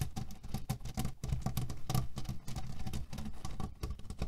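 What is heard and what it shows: Fingernails scratch and tap quickly on a cotton pillow filled with cherry pits, working the fabric over the pits. It makes a dense, rapid patter of short, dry clicks and rustles with a soft, low-heavy body and almost no ring.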